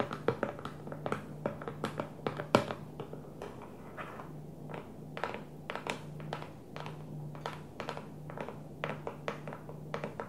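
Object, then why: Plastic food storage container. Long fingernails and fingertips tap on the clear plastic lid and the sides of a small, square, hollow food storage container with a blue plastic base. The result is an irregular run of many short, hollow clicks and thunks that vary in loudness. Each one dies away almost instantly over a faint, steady low hum.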